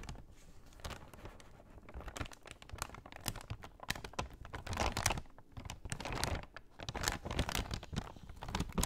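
Long nails tap and scratch along the top edge of a brown kraft paper shopping bag folded flat on a lap. The result is a quiet, continuous stream of quick, crisp taps and dry crinkling scratches with bright papery edges.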